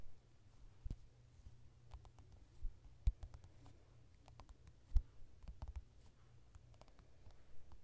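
Fingertips and nails of both hands tap rapidly on the glossy card cover of a softcover mandala coloring book lying flat on a solid surface. The quiet, irregular taps and clicks are short and dry, with a low thud underneath and a few sharper, louder strikes standing out from the soft patter.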